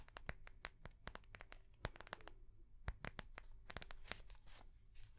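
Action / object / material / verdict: tap / soft plastic notebook cover / soft plastic / none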